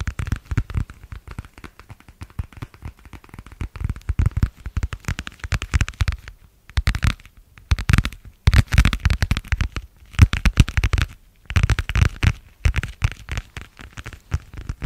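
A thin, flexible, pale blue translucent vinyl plastic cover is held in both hands and tapped and crinkled with fingertips and nails. Dense, rapid crackling taps and crinkles come in bursts separated by brief pauses, with most of the energy low and dull and only a little bright crackle on top.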